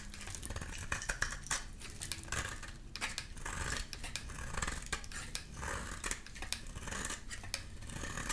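A utility knife blade shaves a solid, rectangular, amber bar of dry soap held in the hand into curls. Repeated crisp scraping and cutting strokes give off a bright, dry, rasping texture with short sharp clicks. Low background rumble sits beneath the strokes.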